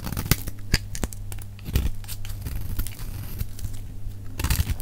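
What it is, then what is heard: Bar of soap being shaved with a blade. A metal utility-knife blade shaves the edge of a solid rectangular bar of dry red soap held in the hand, letting flakes fall away. Crisp, crinkly scraping strokes with bright, sharp bursts sound over a steady low hum.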